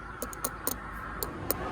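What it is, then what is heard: Unripe durian. A durian fruit is knocked seven times, giving short, dry taps with bright clicks that die away almost instantly over a low background hum. The dull, solid knocks mark this durian as not ripe yet.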